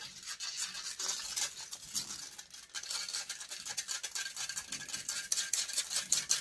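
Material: Metal mesh.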